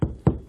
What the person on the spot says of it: if it feels Hollow there's no joist if it feels solid you probably found one